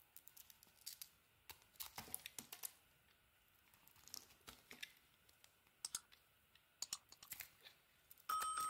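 A metal box-cutter blade shaves the edges of a solid blue and cream Lux soap bar, making many short, dry, crackling scrapes at an irregular pace with quiet gaps between them. The strokes are thin and bright with almost no low end. In the last half-second a louder scrape sets in with a steady ringing tone.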